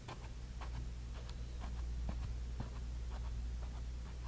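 A bristle brush dabs and rubs magenta paint onto a small canvas panel, making quiet, irregular scratchy strokes and soft taps. A steady low hum runs underneath throughout.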